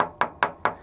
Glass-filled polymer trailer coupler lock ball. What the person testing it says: if I knock it against the trailer you know it's not just Hollow plastic